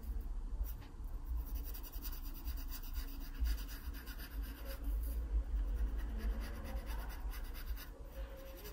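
A graphite pencil is pressed firmly against an open paper sketchbook page, scratching dark strokes onto a drawn pear stem. Dry, gritty scratching comes in quick, uneven bursts of strokes over a steady low rumble, with short bright rasps on the harder passes.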